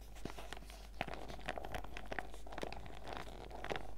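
A printed clear PVC zip pouch full of sachets is held upright while long red nails and fingertips squeeze and scratch it. The result is a steady run of crisp, dry plastic crinkling with many small sharp clicks and scratches.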